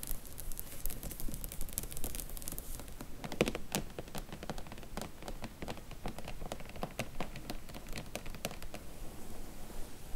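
Long nails and fingertips tap and scratch along a row of paperback book spines held in a cardboard slipcase box set. The result is a quiet, steady stream of dry, irregular clicks and faint bright scratching, with each tap dying away almost instantly.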